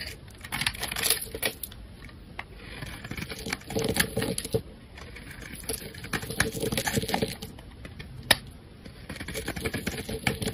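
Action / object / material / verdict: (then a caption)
scrape / bar of soap / soap / none. A hand-sized, solid rectangular pink bar of soap, held by fingers with painted nails, has its top edge scraped and carved with a metal utility-knife blade, and chips fall off. The result is a steady run of dry, crisp scraping and crunching strokes with quick, bright ticks that die away almost instantly, plus a few louder sharp snaps and short pauses between passes.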